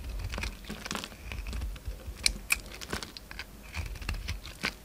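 A utility knife blade cuts and scrapes into a hand-sized oval bar of soap with a purple glitter coating and orange interior, peeling off curls. The result is a run of crisp, crackly scraping and sharp bright ticks over a soft low rumble, with no ringing after each stroke.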